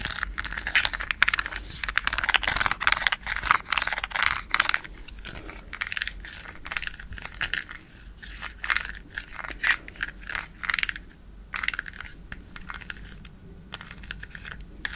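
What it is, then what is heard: Plastic remote control. A small, hollow white plastic LED light remote with rows of colored rubbery buttons is held in one hand and tapped and clicked with long acrylic nails. The result is a long series of sharp, bright clicks and taps that come fast and dense at first, then in more spaced bursts.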